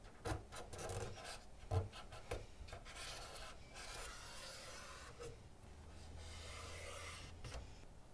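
A cotton swab scrubs the front grooves and vents of an assembled black plastic PlayStation 2 Fat lying flat, with one hand steadying the hollow console body. Soft, irregular rubbing and scratching mixes with a few dull low knocks early on, then settles into a steadier, brighter scraping hiss over a low hollow rumble.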